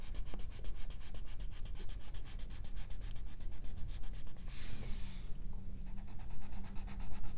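A hand strokes a wooden colored pencil back and forth across the illustration on a thin paper page of an open coloring book, coloring it in. Rapid, steady pencil-on-paper scratching and rubbing runs throughout, with a brief, brighter hissing swell just before the five-second mark before the quick strokes resume.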